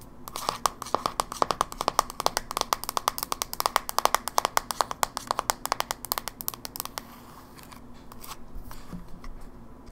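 Long nails scratch and rub the lid and edges of a closed, small, hollow silver plastic Game Boy Advance SP held in one hand. A rapid series of sharp, dry, bright clicks and scrapes with a plasticky ring around 1.1 kHz runs for about seven seconds. It then gives way to softer, quieter rubbing.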